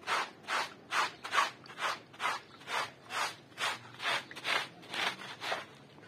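A handheld bristle brush scrubs a small, flat, woven striped wool rug covered in foam, while the other hand presses the rug flat. Steady back-and-forth strokes, about two per second, produce bright, wet, hissing rubs on the soaked textile, with little low end and quick decay.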